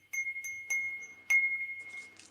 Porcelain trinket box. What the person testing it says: It rings just like it's in perfect condition.